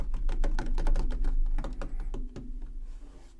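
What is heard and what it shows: Fingertips and nails tap rapidly on the sides of a tall black plastic Xbox Series X game console standing on a wooden table. The taps make dull, hollow clicks off its electronics housing, steady at first and growing quieter and sparser toward the end.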